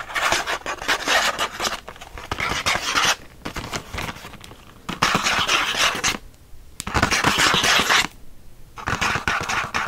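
Several fingertips quickly scratch the printed back of a thin cardboard pen-pack card. Bursts of dry, bright, rasping scratches alternate with brief quieter pauses, and each scrape stops with almost no ring.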